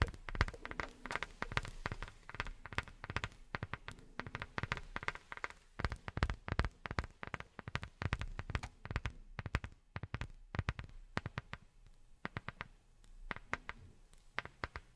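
A round, thin, flat black rubber sheet disc held close to the microphone is tapped rapidly with long nails and with fingertips fitted with silicone rubber pads. The taps are short and dry, with soft low thumps mixed with sharper, brighter clicks that die away almost instantly. They fall in quick, uneven bursts that thin out and soften a little toward the end.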